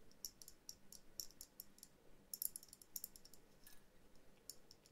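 Long painted nails tap all around the surface of a small hollow glass bell jar ornament, a dome with a tree and figurines inside set on a jute base. Quiet, bright, sharp clicks come in quick uneven bursts with almost no ring, over a faint low hum.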